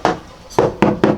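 Four knocks on a bare sheet-metal body panel in a car's rear cargo area, before sound deadening mats are installed. Each knock gives a sharp, mid-pitched hollow thud with a brief metallic ring that fades quickly, showing the undamped panel sounds hollow rather than solid.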